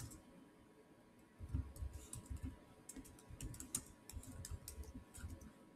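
Fingertips type fast on the solid black plastic chiclet keys of a silver Samsung laptop keyboard. After about a second and a half of near quiet, a rapid run of soft, low-thudding key presses with short, bright clicky edges begins and continues to the end. The presses are close together with uneven loudness, and each dies away almost instantly.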